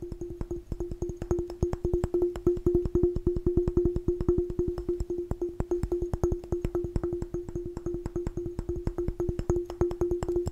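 A glass jar is tapped fast and aggressively in a rapid, uneven stream of sharp clicks over about ten seconds. Each tap brings out a short glassy ring with a steady mid-pitched tone near 370 Hz, and faint bright overtones sit above it.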